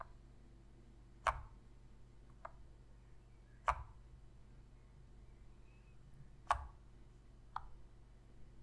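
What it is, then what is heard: Plastic game controller tapped with fingernails. Long pink fingernails tap the buttons and hollow plastic shell of a black PlayStation controller. Five short, sharp clicky taps land at uneven intervals, each dying away almost instantly, over a quiet low hum.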